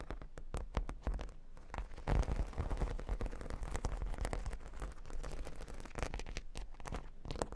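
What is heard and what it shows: Long pink nails scratch across a flat cork board covered in a solid grid of plastic half-pearl stickers. Dense, rapid clicking and bumpy scratching ticks build into a continuous crackly rasp, with a deep, bassy body and little high content.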